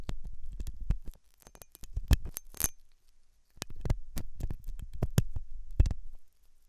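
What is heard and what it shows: A hooked metal dental tool scratches inside the ear canal of a white, translucent, soft solid-rubber silicone ear, likely mounted on a binaural ear microphone. The scratching comes in three bursts of rapid, short, muffled thumps and scrapes, mostly deep and close-sounding with occasional brief bright clicks, separated by short near-silent pauses.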